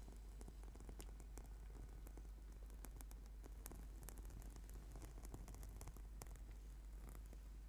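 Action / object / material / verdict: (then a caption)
scrape / rubber/PVC foam yoga mat / PVC foam / none. Fingertips and short nails of both hands tap and scratch the surface of a flat, solid purple sticky yoga mat made of rubber/PVC foam lying on a table. The result is a quiet, steady stream of soft, dense crackling taps and scratches over a low rumble, with occasional brief, bright clicks.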